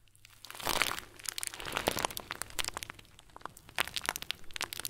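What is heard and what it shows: A hand-sized, round, clear plastic bag packed full of tiny white foam beads, soft and squishy, is squeezed and kneaded by fingers and a thumb wrapped in blue tape. Bright, dense crinkling and crunching comes in bursts of quick, sharp crackles with almost no ring, mostly high and thin with little low end.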